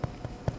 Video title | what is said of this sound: Light Irish Soda Bread - Perfect If You've Never Made Bread - Simple to Make - Tender and Delicious | if you tap on it you can hear a little Hollow sound that's what you're looking for